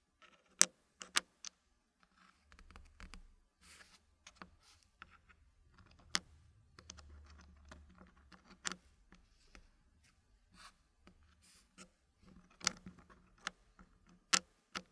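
Fingertips push and tap solid dark-wood puzzle pieces into place in a packed green wooden frame, giving sharp, clicky wood-on-wood taps. The bright, dry clicks come in scattered bursts with quieter rustling between them and a faint low rumble in the middle.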